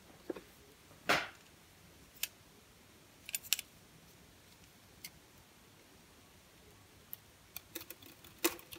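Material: Soap.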